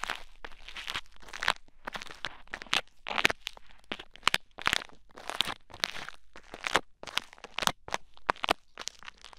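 Blue bead play foam pressed onto the ear of a mannequin head microphone is poked and picked with a thin wooden stick held by the fingers. The result is a run of close, bright, crunchy crackles and crinkly bursts, with sharp clicks that die away almost at once and little low end.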